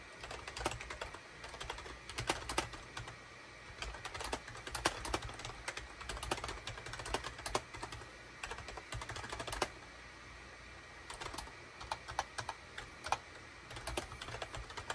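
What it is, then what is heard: Plastic computer keyboard being typed on. Rapid typing with the fingertips of both hands on a full-size gray, cream and orange SHIPADOO K600 wired USB plastic keyboard with a hollow plastic housing, resting on a desk mat. Dense bursts of short, sharp, clacky keystrokes ring out with a hollow, bright edge and pause briefly around the ten- and twelve-second marks. A faint steady low hum runs underneath.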